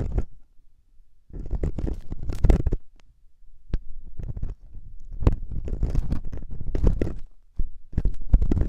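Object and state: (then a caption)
Silicone ear scratched with ear pick. A metal loop ear pick held by the fingertips scratches inside the ear canal of the soft, solid silicone ear on a 3Dio binaural microphone. The result is bursts of close, muffled scraping and rubbing, heavy in low rumble, separated by brief quiet gaps.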